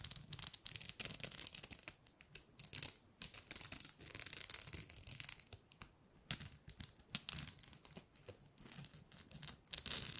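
A flat, openwork gold glitter-coated plastic star tree-topper, about hand-sized, thin and rigid, is held in both hands and scratched and tapped with long painted nails. The result is quiet, dry, bright scratching and rapid clicky taps in dense bursts, with brief pauses and almost no low end.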